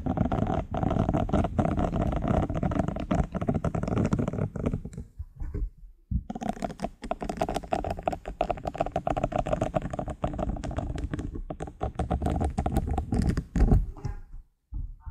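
A small, round, light-blue silicone face and body scrubber, thin and flexible with short bristle nubs, is held close up while fingertips and nails scratch and tap across its bristled surface. The result is a dense, continuous stream of soft, crackling scratches and quick taps that is mostly low and muffled. A brief pause near the middle breaks the stream before it resumes.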